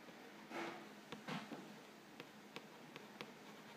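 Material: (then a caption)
Cardboard. Fingernails scratch and trace the lower front panel of a printed cardboard Vegetable Thins crackers box, hollow and filled with crackers. Soft, dry scratching swells are broken by several brief, bright ticks at irregular intervals, all quiet and close.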